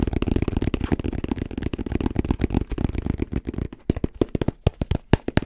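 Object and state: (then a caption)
Hard-shell headphone case, hollow. Fingertips tap rapidly on the surface of a black, rounded, hollow fabric-covered hard-shell headphone case. A dense run of short, dull, low thuds blurs into a near-continuous patter for almost four seconds. The taps then thin out into sparser, more separated knocks.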